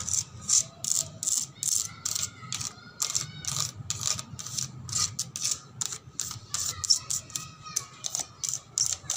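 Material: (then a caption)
Painted metal. A car body is tapped and scratched in rapid, irregular bursts of bright, dry, typing-like clicks, about 35 in all. Each click dies away almost at once, with a faint steady tone running underneath.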